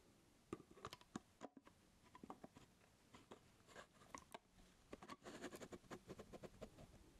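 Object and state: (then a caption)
Mirrorless camera body. A black Sony mirrorless camera body of plastic and metal, with no lens and a body cap on, is held in one hand while fingertips tap and click its buttons and dials. A quiet run of short, dry clicks and taps follows, some crisp and bright, with soft rustling between them.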